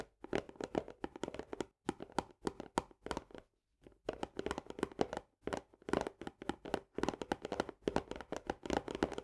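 Both hands tap fast with long nails on the paperboard wall of an Orzo Bimbo barley canister, just below its green plastic lid. The result is dense bursts of short, dry clicks that resonate with a hollow tone around 430 Hz. The bursts are broken by brief pauses.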